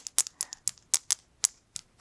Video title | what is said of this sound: LUXURY SHOPPING HAUL: My Designer Collection | it's hollow like it's not solid gold